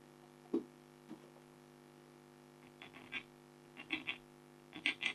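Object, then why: Black-coated foil scratch art card. A red-handled stylus scratches fur strokes into a flat, thin, black-coated foil scratch art card with a tiger design, heard close up. A series of short, dry, bright scratches rises from a quiet background, some grouped in quick pairs, with very little ring after each stroke.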